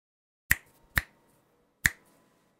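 Three sharp, separate key strikes from a white 60% Prophet mechanical keyboard with Gateron Ink Black V2 switches and plastic keycaps, typed with fingertips. Each keystroke is a brief, crisp clack with a bright peak near 1.8 kHz and very little ring, fading quickly into quiet between hits.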